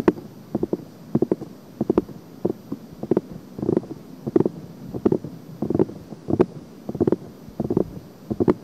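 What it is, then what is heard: Silicone ear being scratched. Long painted nails and fingertips scratch and rub the silicone ears of a binaural microphone continuously. Soft, dull rubbing is broken by irregular bursts of short scratchy clicks and brushes, with the body of the sound low-mid and little high content.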